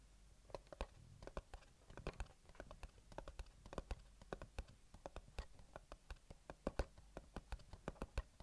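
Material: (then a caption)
Cardboard. Fingertips and nails tap and scratch the top face of a small, closed, white printed cardboard earbuds box held in one hand. A steady run of quick, dry, light taps clicks out with a soft, hollow low thump, each dying away almost at once, while faint scratchy rustling fills the gaps between them.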